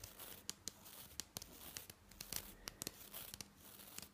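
A long-nailed finger brushes and flicks across the nylon bristles of a green and white plastic toothbrush. It makes a quiet, bright, scratchy rustle broken by a quick series of sharp, crisp flicks. Each flick dies away almost at once.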